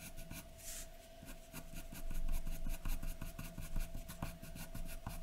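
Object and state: Pencil strokes on drawing paper.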